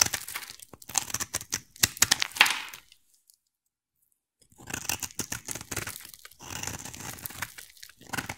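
A utility knife blade scrapes a solid oval green bar of soap, shaving off curls as the bar thins from carving. Bright, crisp crunching and tearing scrapes come in quick, uneven strokes, stop for about a second and a half of silence, then resume in a softer, steadier run.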